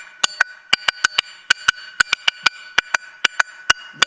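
A metal spoon taps the top of a regular metal can, used as a homemade percussion instrument. Eighteen short, bright metallic clicks come in an uneven rhythm, each with a pitch around 1.5 kHz and a very quick decay with no low end.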